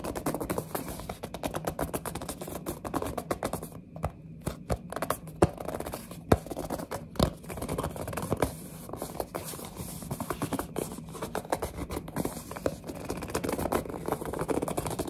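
A small printed cardboard box of mini building blocks is turned in the hands while long nails scratch and grip its sides. Dense, dry scratching and scraping crackles continuously at a low level over a steady low hum, with a few sharper clicks standing out.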